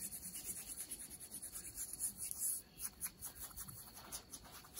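Long nails scratch the fabric near a rip in ripped denim jeans worn over the knee. The result is a quiet, steady run of bright, rasping scratches with rapid strokes and little low end.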